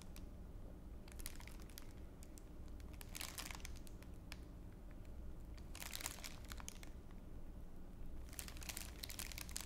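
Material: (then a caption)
Plastic. A thin, clear, empty crinkly plastic wrapper is held in both hands in front of the mouth and scrunched with the fingers. Bright crackling crinkles come in several bursts, loudest around three, six and nine seconds, over a steady low hum.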